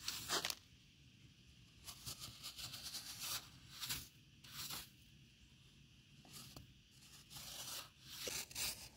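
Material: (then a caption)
Wet sand. A metal offset spatula with a dark handle, held in the hand, scrapes and carves the top edge of a solid cylinder of compacted wet sand outdoors, loosening sand. Bright, gritty scraping and crunching strokes come in bursts separated by quiet pauses, with little low end.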